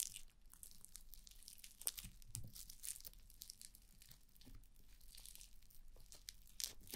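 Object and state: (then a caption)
Foam bead slime (floam) being stretched. A large sheet of red foam-bead slime (floam) is stretched and pulled apart by fingers with dark nails over a black spherical microphone. It makes a continuous crunchy tearing and squishing, with bright crackling pops over a soft low rumble and a few louder snaps.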